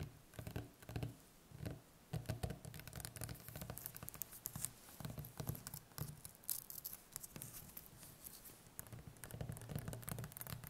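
Long painted fingernails tap and scratch the skin of a large, solid butternut squash lying on a table, one end wrapped in plastic film. Quick, dense, soft patters and scrapes carry a dull low body with bright, crisp edges. The taps die away at once, with no ring.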